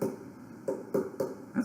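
Several light, hollow taps sound on a leather-hard clay bowl resting on a potter's wheel during trimming, each a short mid-pitched knock with a brief ring, struck to judge the wall thickness by ear. The even tone shows the wall is about even in thickness at this stage.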